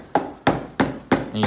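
A rubber hammer taps a tab on the metal sump pan of a Briggs and Stratton V-twin engine to break the old gasket seal loose so the pan can be lifted off. Four sharp, evenly spaced dull knocks with short decays are heard, followed by a fifth tap that blends into a brief sustained tone. The old seal is heard opening up.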